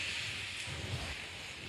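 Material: Nothing is struck.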